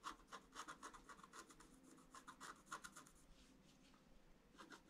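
A thin wooden or bamboo stylus scratches lines into the black wax coating of an A4 sheet of scratch-art paper lying flat on a table, with the other hand holding the sheet down. Quick, irregular dry scratching strokes sound as short raspy bursts centered near 1 kHz with a bright hiss. The strokes thin out into a quieter stretch before a final few return at the end.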